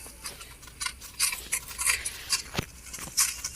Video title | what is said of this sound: कुरकुरीत चिकन रेस्टॉरंट विसराल | बघा चिकनचा कसा कुरकुरीत आवाज येतोय नॅचरल आवाज आहे काही डमिंग नाही